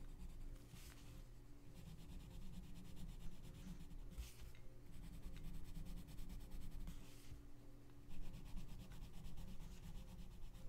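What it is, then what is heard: Colored pencil on paper. A gloved hand rubs a pink colored pencil in repeated strokes across the page of an open paper coloring book lying flat. A soft, continuous scratchy rubbing is heard over a steady low hum, with a few bright swishing bursts.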